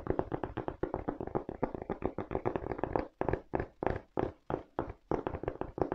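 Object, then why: Treaded rubber shoe sole. Fingertips and nails tap rapidly on the treaded white rubber outsole of a black leather velcro sneaker held in both hands. Quick, dry, dull taps with almost no ring run in a dense flurry, then space out into slower, separate knocks.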